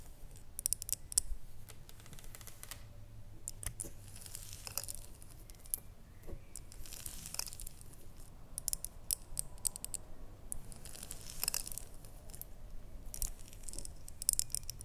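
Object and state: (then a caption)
Glass jar tapped with nails. Long nails tap and scratch along the ribbed sides of a small red ribbed glass jar with a lid, making quick, dry, bright clicks and crinkly scrapes in uneven bursts. The taps stop almost instantly, over a quiet, steady low rumble.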